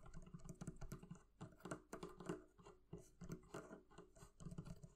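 Fingers tap rapidly on the leather covering of a barrel chest. The taps come in quick, uneven bursts of soft, dull, low-pitched pats with very little brightness. Each one dies away almost at once.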